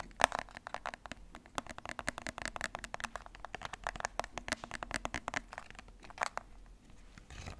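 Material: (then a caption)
Plastic. A black, hollow, hard plastic TV remote control is held in hands while its buttons are clicked and its casing is tapped and scratched with fingernails. It makes a rapid, irregular stream of sharp, dry clicks and taps with very short decay and bright scratchy edges, ending in a softer brushing scrape.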